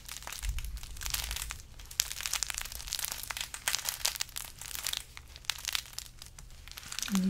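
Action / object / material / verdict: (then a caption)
scrape / burlap-wrapped carrot decoration / burlap / none. Fingers squeeze and scratch a large carrot-shaped decoration wrapped in burlap, making a steady stream of dry, bright crinkling and crackling bursts. A faint low hum sits underneath, and the rustling rises and falls in quick, uneven pulses throughout.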